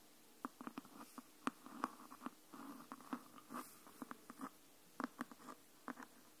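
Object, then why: Hardcover book with cloth-and-board cover. Long nails tap and scratch along the spine edge of a hardcover *Anne of Green Gables* book. The result is a quiet, uneven series of short, dry taps with soft scratchy brushes between them. Each tap stops almost at once, with a hollow tone near 1.1 kHz over a low thud around 250 Hz.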